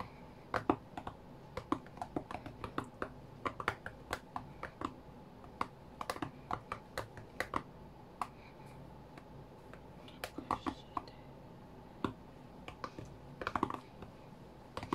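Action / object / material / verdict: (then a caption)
tap / tablet with glass touchscreen / glass / none. Fingertips tap a flat white iPad's glass touchscreen while playing a rhythm game. Dozens of quick, dry, soft clicks and taps come in uneven rhythmic bursts, each fading almost at once over a quiet background.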